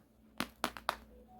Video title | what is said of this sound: 재구매율 1위 착과량많고 건과가 좋은 "칼탄드림" #고추품종추천 #고추모종 #고추종자 | 아주 잘 말라서 플라스틱 소리가 나요